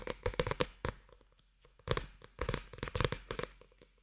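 A small paperback manga with a paper band, solid and held close to the microphone, is tapped and handled on its cover with fingertips. Quick, dry taps and papery rustles come in clusters with a faint ringing tone near 500 Hz. The bursts are separated by short near-silent pauses.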